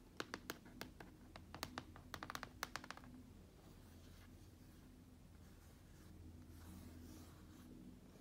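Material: Plastic.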